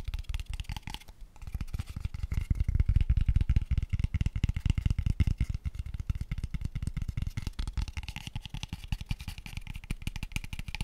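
Fingertips and short nails tap rapidly and continuously on a light, empty, small hollow pale wooden square tube box. The taps are dull, dry, low thumps with almost no ring, touched with faint bright clicks. They run in a dense, uneven stream that briefly pauses near the start and then swells louder in the middle.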